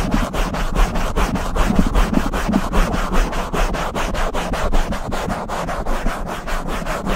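Both hands rub and swirl their palms and fingertips over a soft, fist-sized black foam windscreen on a silver microphone. The result is a continuous, low-heavy scratchy rustle in repeated strokes of uneven rhythm.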